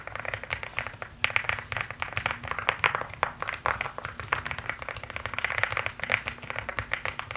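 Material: Plastic.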